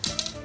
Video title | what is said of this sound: Penjelasan Joran Besutan Bambu Cendani dan Bagaimana Cara Merawatnya! | jika suaranya nyaring dan kering artinya bambu itu lebih tua